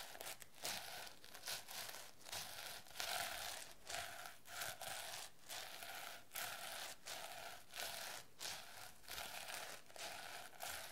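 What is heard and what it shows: A medium-sized hardcover notebook with a reversible plastic sequin cover, turquoise with a yellow design, is held up while long nails and fingertips scratch and rub the sequins back and forth. The result is a steady, bright, crinkly rustle that comes in repeated strokes, separated by brief quiet gaps.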